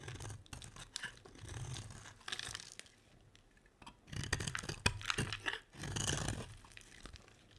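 A metal utility blade shaves a solid, dry, oval cream bar of soap, with the shavings piling up beside it. The clip has bursts of crisp, crackling scraping strokes with a low rumble underneath and bright, gritty crunches. Each stroke stops abruptly, leaving quiet gaps between the passes.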